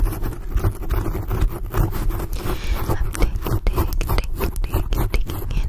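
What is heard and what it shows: Long blue acrylic nails scratch and grip a black foam microphone windscreen up close. The result is a dense, continuous, deep scratching and rubbing sound with many quick, rough, thumping scrapes, heavy in low rumble and with little high-end content.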